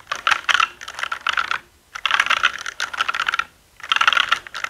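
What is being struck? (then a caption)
Plastic mechanical keyboard keys. Fingertips type and tap continuously on a black mechanical keyboard with plastic keycaps and a hollow body. Three bursts of rapid, clacky keystrokes are separated by brief pauses, each click short and dry with a bright, hollow plastic tone and no low rumble.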